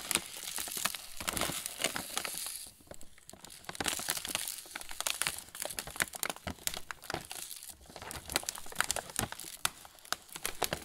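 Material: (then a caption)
Plastic film. A full plastic-film pretzel bag is held up and flexed in both hands while fingertips crinkle and rub the film. The result is a dense, steady stream of bright, crackly crinkles with sharp snaps, easing into brief quieter stretches around three and eight seconds before picking back up.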